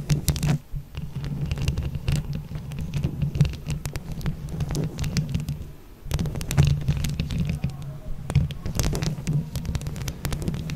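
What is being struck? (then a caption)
Microphone head covered with plastic buttons. Long yellow and leopard-print acrylic nails scratch and tap with both hands on a hollow mesh microphone head covered in plastic flower buttons. The result is a dense, muffled, low rumble with a steady hum underneath, broken by many quick bright clicks. Louder bursts come near the start and again from about six seconds.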